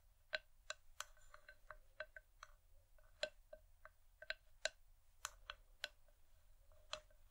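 Long nails tap the outer side wall of an empty, hollow wooden bowl from both sides. The clip has quiet, irregular clicky taps with a hollow tone around 630 Hz and bright overtones. Each tap dies away almost at once.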